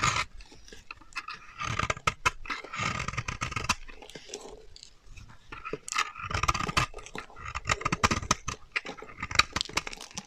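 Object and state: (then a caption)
Dry bar soap being scraped. A solid, dry beige bar of soap held in the hand is scraped with a metal utility knife blade, shaving off powdery flakes. The result is a continuous run of dry, bright scraping and crackling strokes with short bursts of higher-pitched rasps and brief quieter pauses between passes.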